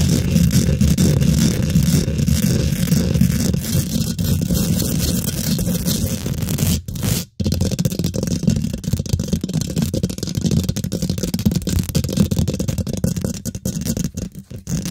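Fingernails scratch fast across the top of a hollow steel wire-mesh microphone grille, making a dense, continuous rough scraping with a heavy low rumble and a thin high hiss. The scratching runs almost unbroken, with a brief drop to near-silence around seven seconds and a few short gaps near the end.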